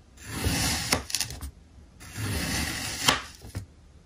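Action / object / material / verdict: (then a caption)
scrape / packed kinetic sand block cut with a steel knife / sand / none. A steel kitchen knife slices thin triangular layers from a small, solid block of packed pink kinetic sand on a white surface. Two long, gritty scraping strokes are heard as the blade drags through the sand, each ending in a few sharp, bright ticks.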